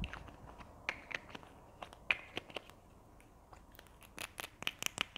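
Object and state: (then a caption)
Plastic glue stick tube. Long nails scratch and tap a small, hollow red plastic Berlingo glue stick tube, including at the cap end. The result is a scattered run of sharp, bright clicks and dry scratching with almost no ring, set against a quiet hiss.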